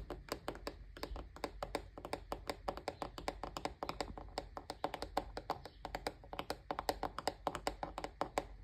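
Fingertips and short nails tap and scratch quickly on the curved white plastic rim of a fan above its grille, a hollow, rigid plastic shell. Dense, crisp clicks with short, dry decay and a hollow midrange tone run steadily throughout, some taps landing brighter and louder than others.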